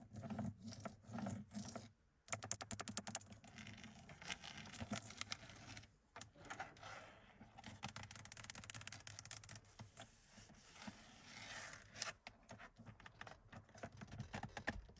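Long pink nails tap and scratch the closed glove box door on the dashboard of a classic Mercedes 200, a lid of padded blue vinyl over hollow plastic with a plastic latch and trim strip. Quick, dry clicks and taps mix with bright, rasping scratches and soft rubbing across the vinyl and latch, each sound dying away almost instantly. A few brief quiet gaps break up the otherwise continuous tapping and scratching.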